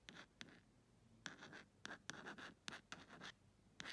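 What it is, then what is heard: Plastic phone case scratched with nails. Long red acrylic nail tips scratch slowly across the flat printed back of a phone-sized clear plastic case with a printed "ASMR" insert. The result is a series of quiet, irregular scratchy strokes, each starting with a sharp click and trailing into a bright, hissy rasp centered around 1.7 kHz.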